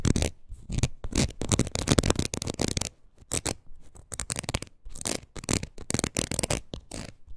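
Long nails scratch across the ridges of a red, palm-sized rubber wood-graining tool with a hollow, curved pad. The result is a rapid series of short, dry, raspy scrapes, bright and crackly on top with a hollow low thump underneath. Brief pauses break up the scratching.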